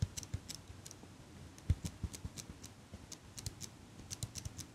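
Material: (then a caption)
Metal. Fingers with long nails repeatedly squeeze the handles of a small metal eyelash curler held close by. The result is a string of quiet, irregular clicks, each a soft low thud with a bright, dry metallic tick on top that stops almost instantly.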